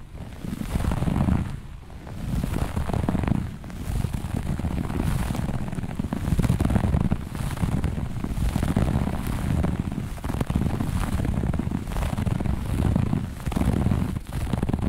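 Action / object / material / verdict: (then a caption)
scrape / looped fabric carpet / carpet fibre / none. Long nails on one or both hands scratch and claw the surface of a flat looped grey-beige carpet. It makes a dense, rough, continuous scratching that is heavy in the low end, with brief dips in level around two, three and a half, ten and fourteen seconds.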